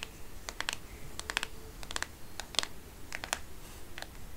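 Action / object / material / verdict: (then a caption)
tap / plastic smartphone case / plastic / none. Long nails tap the plastic back and sides of a black smartphone case while the phone is held edge-on in one hand. The taps come as quick, bright, dry clicks in an irregular rhythm, each dying away almost instantly. A low, steady background rumble sits beneath them.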